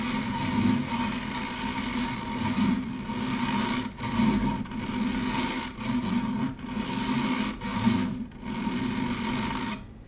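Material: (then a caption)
Stainless steel. Long nails lightly scratch across a stainless steel wire-mesh strainer, producing a steady, raspy scratching with a bright metallic hiss and a low rumbling texture underneath. The strokes run in long sweeps separated by brief pauses, and the sound drops away just before the end.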